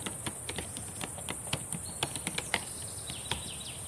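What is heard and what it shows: Long painted nails and fingertips tap on the plastic keys of a black laptop keyboard, making a quick run of light, crisp clicks. The taps are irregular and unevenly spaced over a steady high hiss, with each click dying away almost at once.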